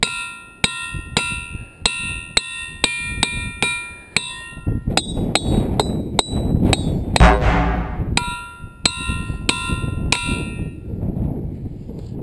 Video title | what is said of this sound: Ringing Rocks State Park - Rocking With Mother Nature! | listen to the sustain on that puppy